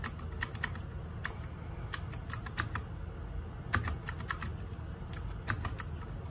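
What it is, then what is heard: Plastic mechanical keyboard. Fingertips and nails type on a small RGB-backlit 60% mechanical keyboard with plastic keycaps, making a steady stream of sharp, bright clacks. Each keystroke is short and dry over a low background rumble.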